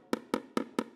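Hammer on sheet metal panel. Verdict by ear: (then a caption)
Hollow. A hammer taps a sheet metal panel at a spot with no dolly behind it, giving five short, dull, hollow knocks centered around 270 Hz with almost no ring. The hollow sound means the hammer is off the dolly.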